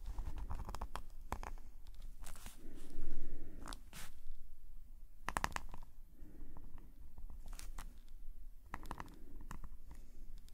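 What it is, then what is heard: Pen nib scratching on sketchbook paper. A metal nib pen scratches ink strokes across a black paper sketchbook page lying flat. Quick, irregular scratchy strokes come in short bright bursts over a steady low rumble, and a few strokes are louder and longer than the rest.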